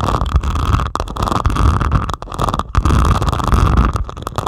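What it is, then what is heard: Diamond painting with resin drills, scratched. Long pointed acrylic nails scratch across the beaded surface of a flat diamond painting made of plastic resin drills on canvas. The result is a steady, low, rumbling scrape with a faint midrange rasp, broken by several brief pauses.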